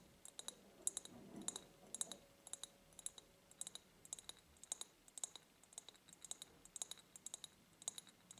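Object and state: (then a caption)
Ribbed glass jar. Long nails tap rapidly on the ribs of an empty, medium-sized clear ribbed glass jar, which is held tilted close up. Many sharp, bright clicks with a high glassy tinkle follow one another quickly and die away almost at once. A faint, soft rubbing sound is heard under the taps near the start.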